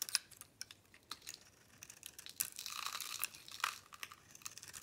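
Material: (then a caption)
Soap. A metal blade shaves the swirled decorative coating and soap from a solid pink bar of soap held in the palm, and crumbly, powdery chunks fall away. The sound is dry and bright, with quiet crisp scrapes and sharp crackles, and a longer, denser grating scrape partway through.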